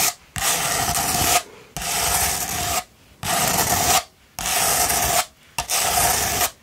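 Long pointed nails scratch a rolled sandpaper tube held upright, making repeated gritty rasping strokes separated by short pauses. Each stroke is a dense, bright scrape with a faint tone around 720 Hz running through it.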